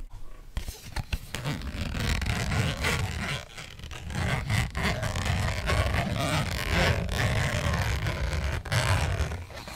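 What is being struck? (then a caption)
Small thin printed cardboard box. A small, thin, flat purple printed cardboard eyeshadow palette box is held in both hands while long nails scratch across its surface. The sound is a dense, continuous rasping scratch with a strong low body and a fainter bright hiss, dipping briefly around 3.5 seconds before resuming steadily to the end.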